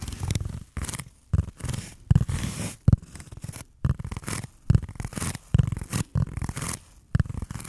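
A handheld, rectangular block of dense black foam or felt-like material is scratched and rubbed with fingertips and nails close to the microphone. The sound comes as short bursts of muffled, scratchy rubbing with a heavy low rumble, separated by brief quiet gaps.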